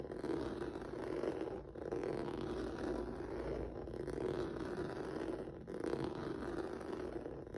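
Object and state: Rubber noodle-texture mat scratched.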